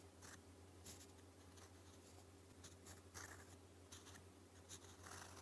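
A gold metal fountain pen nib, held in the fingers, writes Korean in purple ink on a thin, flat, solid sheet of lined white paper. Soft, bright scratchy strokes come in short bursts over a steady low hum, all at a quiet level.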